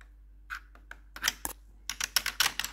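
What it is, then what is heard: Plastic computer keyboard tapped with metal nails. Metal claw nails tap and click the keycaps of a black plastic backlit computer keyboard. Sharp, bright plastic clicks come in a sparse, irregular series, then cluster quickly toward the end. Each click dies away almost at once, with very little low end.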